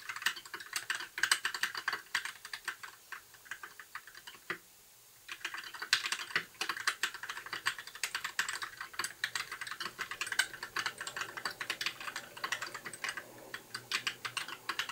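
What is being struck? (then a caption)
Plastic mechanical keyboard. Fingertips type steadily on a compact white mechanical keyboard with plastic keycaps, producing a fast, continuous stream of short, bright clicks and clacks. There is a brief pause just before the five-second mark, then the typing resumes at the same brisk pace until the end.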